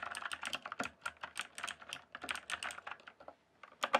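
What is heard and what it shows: Fingertips type quickly on a rainbow-backlit mechanical keyboard with plastic keycaps, producing a rapid run of sharp, bright clacks with almost no low end. The keystrokes pause briefly near the end before a final few louder taps.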